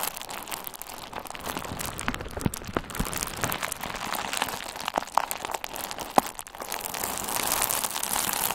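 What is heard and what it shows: A hand-sized bundle of pink/red plastic bubble wrap with hollow, air-filled bubbles is squeezed with the fingertips of both hands, making a steady, dense crinkling with scattered sharp pops. A few pops stand out, near 5 and 6 seconds, and the crinkling gets brighter and fuller toward the end.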